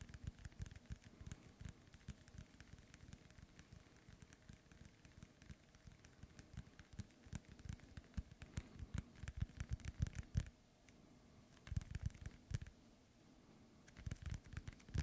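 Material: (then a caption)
Synthetic leather. A small inflated, hollow ball with a white, black and yellow synthetic leather panel cover is held in one hand and tapped and scratched with the fingertips of the other. Quiet, dull, low thumps come in rapid, irregular clusters over a faint crackly scratching. Louder bursts of tapping arrive toward the middle and end.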